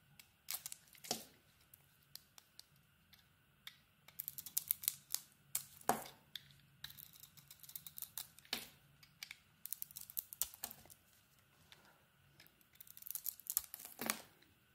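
A knife blade carves a solid cream soap bar with a green patterned coating, making quiet, dry scraping and crisp shaving sounds. Short bursts of bright scratching come and go amid near silence, with a few sharper, louder strokes standing out.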